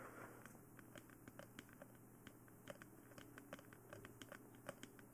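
Long nails tap and scratch on top of a glossy black, hollow plastic mannequin-style dummy head microphone. A rapid, uneven series of light, sharp clicks sounds with faint scratchy rustling between them, each tap dying away almost at once with a slight hollow tone near 550 Hz. It is all quiet over a steady low hum.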